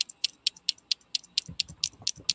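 A freshly cured UV resin circle is tapped against the resin ring it fits inside, producing about a dozen bright, glassy clinks in quick succession. The ticks are sharp and high-pitched, with almost no ring after each one, and the resin sounds much like glass.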